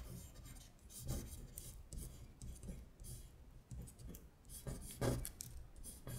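Long stiletto acrylic nails trace the words on a thin printed paper worksheet of Korean colors, lying flat on a glittery surface, in scratching strokes. Quiet, dry rasping bursts with bright scratchy edges rise and fade one after another over a low, soft rumble.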